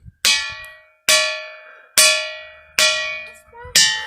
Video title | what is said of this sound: Where Am I to Go! - Podcast #16 - Ringing Rocks of Whitehall, Montana | there's a lot of rocks here and so many of them make tones